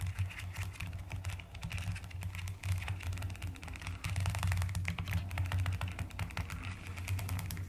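Fingertips and long nails type fast on a mechanical keyboard with rounded pastel plastic keycaps. The rapid key presses make a dense stream of crisp, bright clicks over a steady low hum around 90 Hz, which grows a little louder in the second half.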